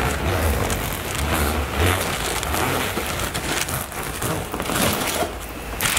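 Long nails scratch across a soft, filled black floral nylon toiletry bag and along its zipper area. The result is a steady, dense, scratchy rustle with bright crackling texture over a low rumble, holding an even level throughout.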